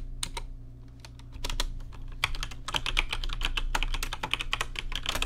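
Fingertips type on a rainbow-lit plastic RGB mechanical keyboard with plastic keycaps. Sparse clicks at first give way to a steady run of quick, bright, sharp key clacks over a low hum.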